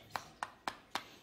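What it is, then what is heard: All-plastic earbud charging case. Four light taps on the all-plastic charging case of Lenovo Thinkplus XT62 wireless earbuds, each a short, bright click centered near 1 kHz that dies away almost at once. The case is made entirely of elastic plastic, which makes it less likely to break if dropped.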